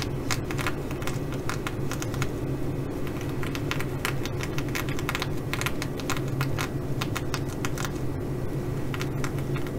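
Fingernails of one hand tap and scratch the sequins of a blue reversible flip-sequin fabric bag. Rapid, irregular bright clicks and rasps run continuously over a steady low hum around 90 Hz, at an even level throughout.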